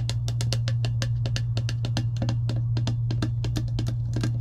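Long acrylic nails tap and scratch on a clear plastic slider lid resting on top of an empty insulated metal tumbler. Quick, dry, clicky taps come in a rapid, steady stream with light scratching between them, over a constant low hum.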